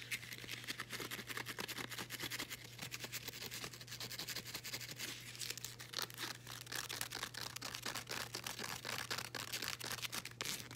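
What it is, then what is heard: Woven elastic fabric resistance band. A folded blue woven elastic fabric resistance band is rubbed and scratched along its folded edges with long nails, giving a steady run of dense, bright scratchy rasps and quick ticks. A faint low hum sits underneath throughout.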